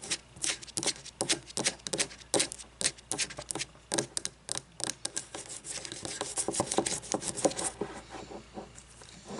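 Fingernails scratch over the glass and paper label of a frosted glass candle jar filled with wax. Quick, irregular bursts of crisp, bright scratching run for the first six seconds, then blend into a denser, more continuous rasp with little low end.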